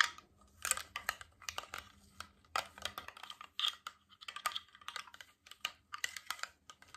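A tall, clear glass water bottle with a stainless steel cap, mostly empty and held horizontally, is tapped along its side with fingertips, nails and rings. The result is a rapid, irregular flurry of bright, sharp clicks and taps that die away almost instantly, with no low-end body.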